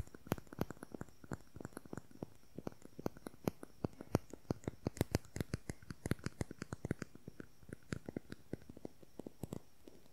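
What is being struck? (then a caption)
Slim plastic concealer tube. A slim, hollow beige plastic concealer tube with a cap, held horizontally, is tapped and scratched with long nails. Quick, dry clicking taps come in a rapid, uneven stream, with short scratchy strokes, a low hollow knock beneath them and faint bright ticks on top. Each tap dies away almost instantly.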